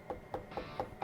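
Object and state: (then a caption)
Good spaghetti squash (hollow). Knuckle knocks on a whole fresh spaghetti squash to check whether it is good: five quick, evenly spaced knocks, each a short hollow tone around 500 Hz that dies away almost at once. The hollow sound, rather than a dull thud, marks the squash as good.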